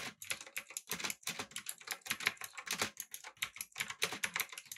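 Fingertips rapidly press the clicky blue-switch keys of a backlit, typewriter-style mechanical keyboard with an aluminum body and round plastic keycaps. The result is a fast, uneven stream of sharp, bright clicks that decay almost instantly, with very little low end.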